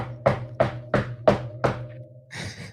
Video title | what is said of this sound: Kenta Maeda Concern, Buy-Highs, Wednesday Recap! - Fantasy Baseball Today | he's knocking on wood very hard and very very loudly